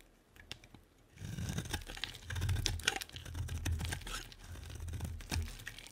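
A solid white bar of soap with a pink edge is held in the hand and sliced into curls with a utility-knife blade. After a quiet first second, a steady run of crisp, crackly scraping and sharp clicks begins, layered over a soft low rumble.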